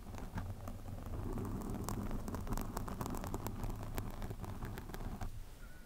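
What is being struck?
Foam microphone windscreen.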